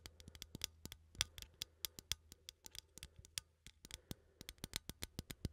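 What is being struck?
Small ribbed metal coffee tin.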